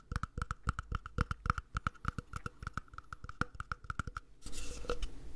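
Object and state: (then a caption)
Empty plastic cup. Fingertips tap quickly along the length of an empty, hollow, mint-green cup that looks like matte plastic, held sideways in both hands. There are around thirty short, dry taps in an uneven rhythm, each with a low thump and a hollow mid-range ring. The tapping then gives way to a brief, brighter scratchy rustle at the end.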